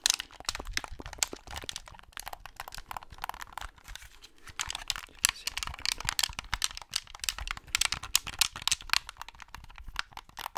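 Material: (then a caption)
Plastic. Fingertips and nails tap and scratch the shell and buttons of a white plastic Xbox controller, a hollow handheld held near the mic. The result is a dense stream of quick, bright clicks, crackles and scratchy rustles with almost no low end and no ringing, each tap dying away at once.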